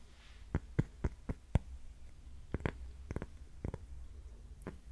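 A round, flat, thin solid cork coaster held in both hands is tapped and scratched with long painted fingernails. The result is a quiet, irregular series of short, dull, low taps with almost no ring, plus faint scratching between them.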